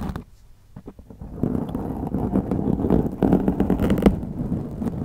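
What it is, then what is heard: Foam microphone windscreen being scratched. Long glittery acrylic nails scratch and rake across a black foam windscreen on a white microphone. A few faint, separate scratches at the start give way to a dense, louder rustling scrape, heavy in the low and mid range, with brief brighter crackles.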